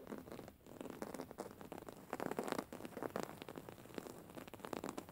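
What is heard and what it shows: Long fingernail tips scratch across a soft, stuffed white cotton pillow with raised embroidery. The result is a quiet, continuous run of dry, crackling scratches and rustles that come in quick bursts, with little low end and a slightly brighter edge.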